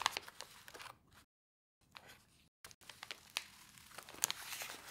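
Long white nails and fingertips tap, press and scratch across a pile of small, flat laminated paper-foil instant soup sachets filled with dry soup powder, lying in a bowl. Quiet, bright crinkling and scratching is broken by sharp taps and two brief silent gaps.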